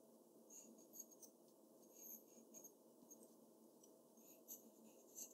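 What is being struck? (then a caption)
Graphite pencil on a sheet of drawing paper. The graphite tip of a black pencil is drawn across a large, flat sheet of white drawing paper while shading a character's face. It makes quiet, scratchy strokes with bright, hissy highs and a soft papery rasp underneath. Short, slightly louder strokes stand out from the steady shading.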